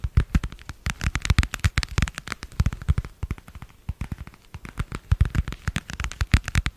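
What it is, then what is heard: Plastic passport cover. Long nails tap rapidly on a translucent marbled plastic passport cover and scratch across it. Dense bursts of short, dry clicks come in uneven clusters, each dying away almost at once. A soft low thump sits under the sharper ticks.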